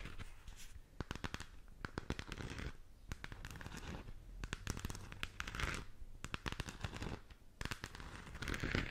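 Long acrylic nails tap and scratch a hollow plastic galaxy moon lamp globe, producing rapid, sharp clicking taps mixed with bright, raspy scratching bursts. The sound is quiet and close, with a low underlying rumble between strokes.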